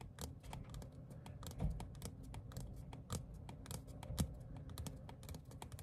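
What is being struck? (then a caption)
Thin paper ticket card. Fingertips and short nails tap rapidly on a small, thin printed paper or cardstock ticket card. The taps are quick, dry and irregular, with soft low thumps and bright, crisp clicks that die away almost at once, and a few stand out louder than the rest.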